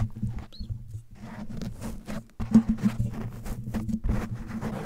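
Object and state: Foam microphone windscreen.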